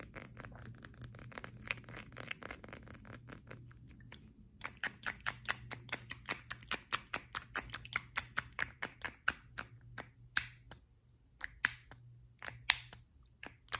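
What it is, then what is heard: Glass perfume bottle. A small square glass perfume bottle with a metal cap is held in the hands and tapped and clinked with the fingertips and nails. It makes a long series of short, bright clicks and clinks with almost no ring, a brief pause near the four-second mark, and a faint low hum underneath.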